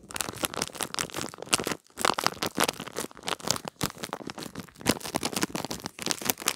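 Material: Plastic.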